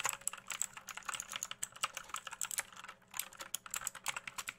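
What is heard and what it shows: Fingertips tap the plastic keycaps and case of an RGB-backlit mechanical keyboard, held tilted and upright close to the mic. A rapid, uneven string of short, dry, bright clicks and clacks follows, each dying away almost instantly, with a brief pause near the three-second mark.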